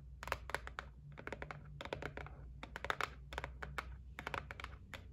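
A white cardboard gift box lying on a table is tapped on its top and edge with long nails. Quick, dry clicking taps come in uneven bursts, each dying away almost at once, over a steady low hum.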